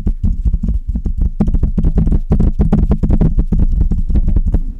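Long red nails scratch and tap both sides of the hollow metal mesh grille on a Blue Yeti metal USB condenser microphone. A rapid, continuous stream of deep, muffled thumps and taps runs throughout, with almost all of the sound in the low range and a steady low hum beneath it.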